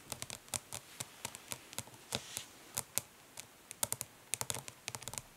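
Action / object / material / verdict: tap / plastic eyeshadow palette / plastic / none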